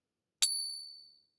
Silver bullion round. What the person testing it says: Yeah, that's the sound of silver.